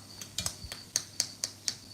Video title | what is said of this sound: Subi subi scones | It has got a nice crust on it.